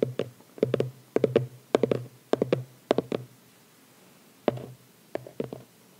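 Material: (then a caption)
Cardboard. Fingertips and short nails tap and scratch the lid of a small, closed red cardboard phone-case gift box with a white ribbon, lying on a towel. Quick, dry, muted taps come in irregular clusters of two to four, with a brief quiet pause before the last few groups.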